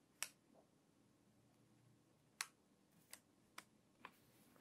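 A hand with long white nails grips the page edges of an open, water-damaged glossy magazine and turns its crinkly pages. Six sharp, bright crackles stand out at irregular intervals, each dying away almost at once over a quiet, faint background hiss.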